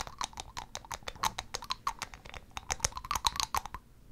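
Long acrylic nails tap quickly on the cap and top of a small amber glass dropper bottle held in one hand. The result is a rapid, irregular run of about two dozen short, dry clicks, each with a bright, glassy tick around 1 kHz and almost no ring.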